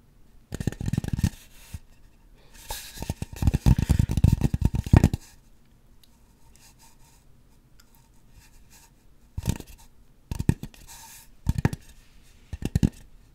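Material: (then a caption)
Polystyrene foam. Long acrylic nails scratch and rub the surface of a solid white polystyrene foam mannequin head held close to the microphone. Dry, low-heavy scraping and squeaky rubbing come in stop-and-go bursts, two longer runs in the first five seconds, then a long quiet pause. Shorter, unpredictable flurries of scratching follow near the end.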